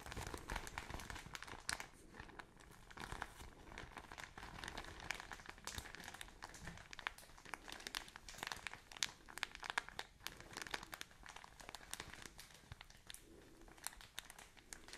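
A thin plastic bag of cotton wool is scratched with long nails and crumpled in the hand, recorded close up. Dense, bright crinkling and scratching crackles continuously for the whole clip, with sharp, short crisp peaks rising above a steady rustle and little low end.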